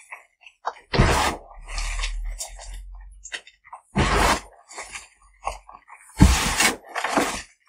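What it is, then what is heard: Gym chalk block crumbled by hand. A pile of crushed white gym chalk block (magnesium carbonate), made of solid crumbly chunks and fine powder, is squeezed, crumbled and rubbed between the bare fingertips and palms of both hands. Three loud, broad, gritty crunching bursts, at about 1, 4 and 6 seconds, stand out over a low rumble. Short, dry crackles and soft powdery rubbing fill the gaps between them.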